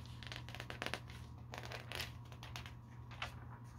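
Fingertips and nails lift and turn the thin glossy pages of a paper store catalog lying open on a carpet. Soft, bright papery rustles, rubbing and quick flaps repeat close together over a steady low hum.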